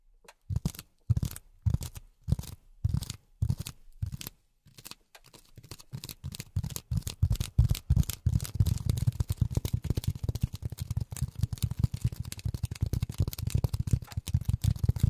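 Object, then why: Polyethylene foam sheet. Polyethylene foam is tapped with silicone rubber finger pads, making soft, dull, low thuds with almost no high end. The taps come in spaced bursts for the first few seconds, then become a quicker, denser, steady patter that grows louder after about eight seconds.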